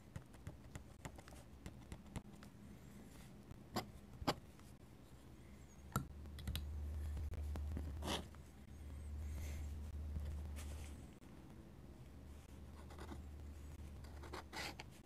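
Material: Paper.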